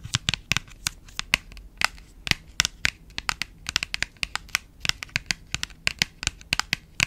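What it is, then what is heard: Small printed cardboard box. Long pointed nails tap and scratch the surface and edges of a small printed paperboard box held in both hands. About thirty-three sharp, dry, bright clicks and scratches come in an irregular run, each dying away almost instantly with very little low end.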